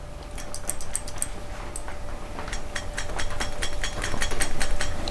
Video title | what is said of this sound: Oliver 550 Tractor Revival: Marvel Schebler Carb and Compression Test | you can hear that float bouncing up and down inside of the ball so you know that the float's not hung on the side of the bowl